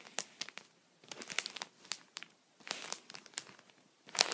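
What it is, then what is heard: Plastic sheet protector on towel. A wooden pencil tip taps and scratches a thin, clear plastic sheet protector (punched pocket) lying on a towel while the other hand holds it flat. The result is a series of dry, bright crinkly clicks and scratchy bursts with almost no low end, separated by short quiet gaps, with a louder crinkling flurry at the end.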